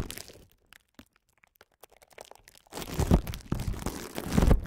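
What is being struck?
Plastic bubble wrap sheet.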